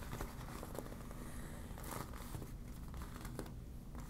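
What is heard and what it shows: A deflated yellow vinyl beach ball is scrunched, crinkled and scratched with long black nails. The result is a quiet, steady stream of soft crinkling and scratchy crackles over a low, muffled rumble.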